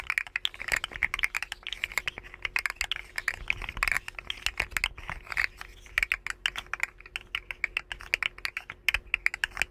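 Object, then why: Segmented plastic slug toy. A rainbow segmented hollow plastic slug fidget toy is held near the microphones and flexed by the fingers. Its segment joints give a dense run of quick, dry, bright clicks that come in irregular bursts. The clicks have almost no low end and die away at once.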